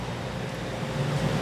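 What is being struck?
Nothing is struck.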